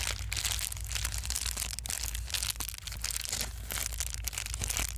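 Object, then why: Plastic bubble wrap sheet. A small folded piece of plastic bubble wrap is held in both hands and squeezed and crinkled with the fingertips. It makes dense, continuous bright crinkling and crackling with short sharp snaps, over a steady low hum.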